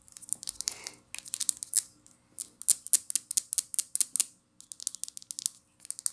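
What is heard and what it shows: Long nails tap and scratch a small amber glass essential oil vial with a black plastic cap, striking both the cap and the glass. About thirty quick, dry, bright clicks and scratchy ticks come in rapid bursts with short pauses, with almost no low end and no ring after each hit.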